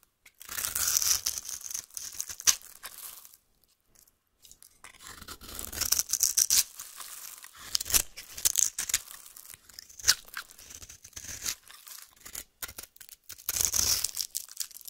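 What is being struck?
Bar of soap cut with a metal knife.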